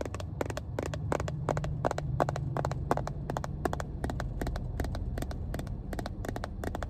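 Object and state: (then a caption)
Plastic first aid case tapped with nails. Long painted nails tap the top edge and face of a small, hollow, cream hard-plastic Johnson & Johnson first aid kit case held upright. The result is a quick, steady run of short, bright, hollow clicks that die away almost instantly, over a constant low rumble.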